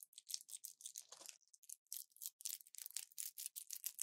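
An orange plastic pill blister pack with foil backing is held in both hands and crushed and crinkled with the fingers and long nails. It makes a quiet, rapid series of bright, dry crackles and crinkles with almost no low end, each burst cutting off sharply, plus a brief lower rustle about a second in.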